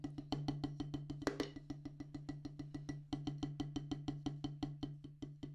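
A solid black rubber drum practice pad on a wooden base is tapped with two wooden drumsticks in a steady, quick rhythm of 34 short, dry taps. Each tap has a muted knock centred around 290 Hz and dies away almost at once, over a constant low hum.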